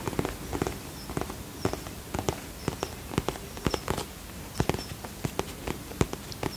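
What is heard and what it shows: A holographic vinyl zip pouch, held near the microphone, is tapped with long fingernails. About 21 short, crisp clicks and taps fall in an irregular rhythm. Each one dies away almost instantly over a soft, steady background hiss.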